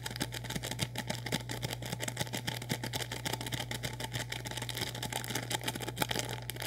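Fingertips crinkle and scratch a sealed, full orange plastic instant noodle packet, making a rapid stream of short, dry crackles and scratches with bright, hissy detail. A steady low hum runs underneath throughout.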